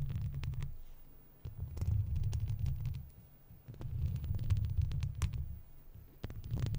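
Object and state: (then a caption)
Metal mesh microphone grille. Long red-tipped plastic fake claw nails worn on the fingers scratch a hollow wire-mesh metal microphone grille, with the mouth kept closed. The result is a deep, throbbing low rumble that swells and fades in waves, broken by quick, faint scratchy ticks that reach into the highs.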